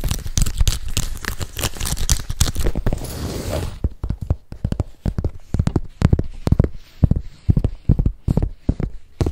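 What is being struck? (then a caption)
Embossed leather handbag. A hollow gold croc-embossed leather tote, held up, is scratched and tapped with nails and fingertips. Dense, rough scratching fills the first few seconds, then gives way to separate dull, low taps with short crackly scrapes between them.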